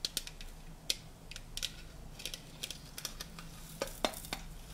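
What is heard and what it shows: A stack of hollow, colorful printed tinplate tea canisters, held in the hands, has its sides tapped with fingernails. A quick, uneven series of sharp, bright metallic clicks is heard, each dying away almost at once with a faint tinny tone near 600 Hz. A steady low hum runs quietly underneath.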